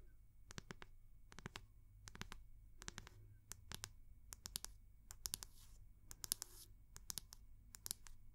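Long nails tap the round, solid wooden back of a hair brush held in the other hand, making quick bursts of crisp, bright clicks in small groups with brief pauses between. A couple of softer scratching swishes blend in near the end, over a steady low hum.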